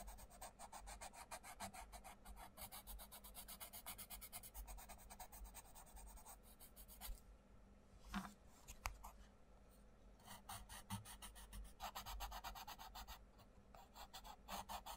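A wooden coloured pencil rubs the paper page of an open paperback colouring book with a mandala page in fast, short strokes, making a dry, bright scratching. The strokes pause for about three seconds, broken only by a couple of soft knocks, then resume over a steady low hum.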